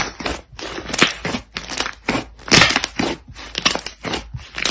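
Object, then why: Soft butter slime worked by hand. Soft, solid pale-yellow butter slime on a light surface is folded and squeezed between both hands with the fingers and knuckles. This produces a rapid series of bright, crackling air-pop sounds with wet squelching in between, each pop short and sharp.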